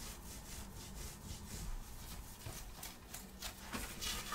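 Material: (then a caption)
Cotton. Long nails scratch and rub across a grey printed long-sleeve cotton shirt worn on the body, working over the fabric at the chest. Soft, continuous scratchy friction with repeated brushing strokes and bright, airy hiss, at low level and with an irregular rhythm.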